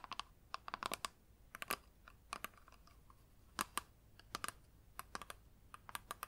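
Long nails tap on both sides of a flat plastic eyeshadow palette, first its clear lid and then its black plastic back. Quick, irregular runs of short, bright clicks with a ringing tone around 1.2 kHz fade almost instantly over a quiet background.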